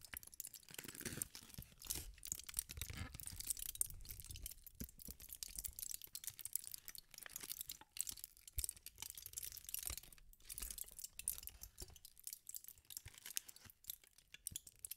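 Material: Aluminum foil.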